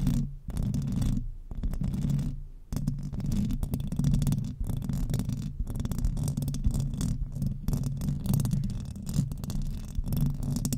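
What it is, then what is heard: Metal microphone grille being scratched. Long acrylic nails on both hands scratch fast across the hollow metal mesh grille of a silver microphone. The result is a dense, continuous rumbling scrape, heavy in the low end with faint bright crackle, broken by a few brief gaps in the first three seconds.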